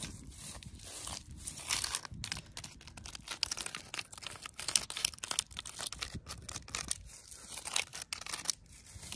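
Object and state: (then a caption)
Tree bark scratched and tapped. Long, pointed wooden-stick fake nails on the fingertips scratch and tap the rough bark at the base of a living tree trunk standing on grass outdoors. The result is a dense run of dry, bright, crackly scraping with quick, sharp ticks. There is very little low end and no ringing after each contact.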